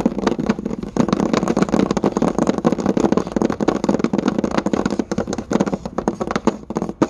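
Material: Wood.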